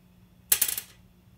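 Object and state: Plastic guitar nut.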